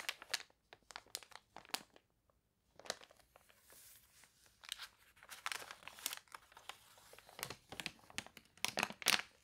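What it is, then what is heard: Water-warped paper catalog. Fingernails scratch and fingertips flip the wavy pages of a water-warped paper toy catalog, up close. Dry, bright crinkling and crunching bursts come in quick clusters, with a short quiet gap early on. Soft rustling fills the spaces between the sharper crackles.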